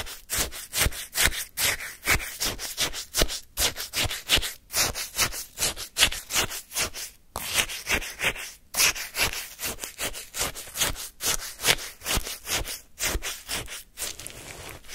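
A wooden spoon repeatedly scrapes and lifts crunchy ice from pale, icy lemon shaved-ice sorbet in a small paper cup. About thirty short, bright, gritty scrapes come in a loose, uneven rhythm over the full fifteen seconds, each dying away quickly.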